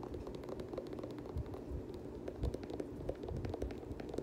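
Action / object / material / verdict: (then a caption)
scrape / nubuck sneaker with plastic midsole / plastic / none. Fingernails scratch and tap along the white and blue plastic midsole edge of a nubuck Air Jordan 7 sneaker. A steady, rough scratching texture runs throughout, broken by quick, dry taps and a few dull low thumps.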